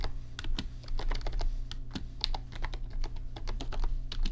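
Fingertips type quickly on an RGB backlit computer keyboard with plastic keys, giving a fast, uneven run of short, bright clicks and clacks. Beneath the keystrokes runs a steady low hum.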